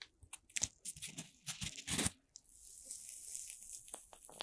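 A hand-length stick of several red playcorn pieces joined together, made of light solid corn starch foam, is held over a microphone and squeezed, rubbed and pressed with fingertips and long red-painted nails. Quick, bright crunching and crackling bursts come first, then give way to a steady high rustling hiss as the foam is rubbed.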